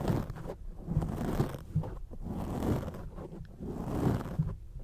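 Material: Foam.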